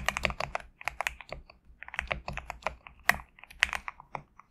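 Fingertips type on a compact GMK67 mechanical keyboard with PBT plastic keycaps resting on a desk mat. Quick, sharp clacks come in irregular bursts with brief pauses, each keystroke dry and bright with almost no ring.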